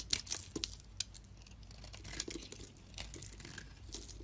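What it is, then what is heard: Bar of soap being shaved with a blade. A metal utility blade shaves and cuts a solid white bar of soap held in the palm, sending off chunks and powder. Bright, crisp scraping and crumbly cutting sounds come in quick strokes, with a few sharper clicks early on over a faint low hum.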